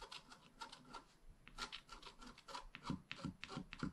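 A wooden stylus tip scratches a flat, black wax-coated scratch-art page, about A5 size and made of solid thin card, lying on a table. The strokes are short, dry and scraping, with a bright rasp and a low thud on the heavier ones. They come in an uneven, quick rhythm at low volume.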